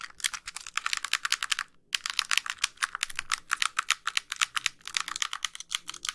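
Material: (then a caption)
Plastic. Long pink nails rapidly tap and scratch the casing of a white, hollow plastic handheld game console held in both hands. Dozens of sharp, bright, dry clicks come in quick, uneven bursts, with almost no low end and a brief pause just before the two-second mark.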